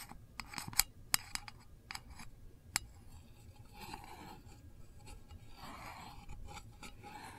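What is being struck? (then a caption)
Small metal candle tin lid. A long fingernail taps the lid of a small, hollow, round printed metal candle tin, giving about eight sharp, bright clicks with almost no ring over the first three seconds. The nail then scratches across the lid in a softer, steady, raspy scraping that continues to the end.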